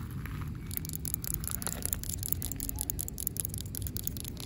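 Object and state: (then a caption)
Asphalt pavement, scratched and tapped. Long pink acrylic nails scratch and tap the rough surface of cracked asphalt pavement, which is solid and gritty. The result is a steady, dense gritty scraping with quick, sharp little clicks scattered throughout over a low, rumbling background.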